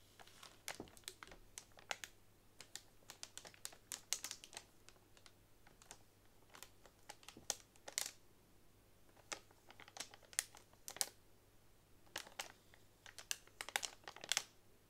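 A single long fingernail taps down along a bundle of hollow bamboo straws wrapped in clear plastic. The result is a rapid run of about forty crisp, bright clicks and light crinkles that stop almost instantly. The taps come in quick clusters with short pauses between them.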